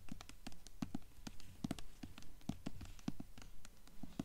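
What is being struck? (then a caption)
Hardcover book with paper dust jacket. Long nails scratch and tap along the spine and top edge of a blue hardcover book with a paper dust jacket, the book tilted to show its page edges. A rapid, uneven run of short, dull taps and soft scratches is heard, mostly low and muffled with no ring after each hit.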